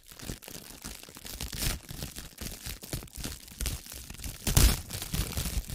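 A loose sheet of clear plastic cling film is crumpled, stretched and rubbed by fingers and long nails close to the microphone. It makes a dense, continuous crinkling and crackling with a low rumbling underneath and bright hiss on top, peaking in a loud crunch near the end.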